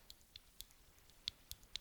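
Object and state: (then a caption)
Loose flashlight side button. Tapping the aluminum side button and rotating dial of a Jetbeam E26 Kunai 3-in-1 flat EDC flashlight produces several quiet, sharp, high-pitched clicks with a slight rattle. The noise comes from the loose button moving around inside, a fault that also lets the dial rock and feel cheap.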